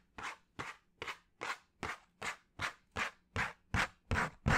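Fingernails scratch and tap a flat brown cardboard sheet held near the head, making 12 short, separate raspy scrapes in a steady rhythm. Each stroke is a dry, papery burst spread from low to bright, and the strokes grow gradually louder toward the end.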